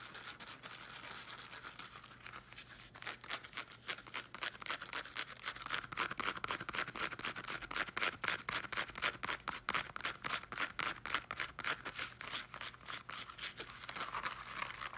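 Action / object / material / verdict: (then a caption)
scrape / small speaker with woven fabric cover / woven fabric / none. Long nails scratch the small teal striped woven fabric cover of a small speaker with a solid body, sometimes up close. It makes fast, rhythmic, bright scratching strokes, about four per second, with a raspy hiss centered around 1.5 kHz. The strokes are softer for the first few seconds, then grow louder and sharper.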